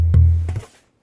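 A German alpine spruce guitar tonewood plate is tapped, giving a deep, resonant knock centered around 82 Hz that rings out before fading within about a second. The wood's reverberant tone is called beautiful.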